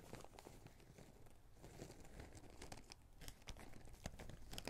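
A small clear plastic zip-lock bag holding small red rubber rings is squeezed and crinkled with the fingertips. It gives a quiet, continuous crackling rustle with the rings rattling slightly inside. Short, bright crinkle snaps come more often and louder toward the end.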